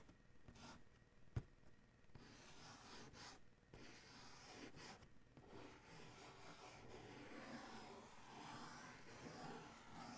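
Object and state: Cardboard shoe box, scratched.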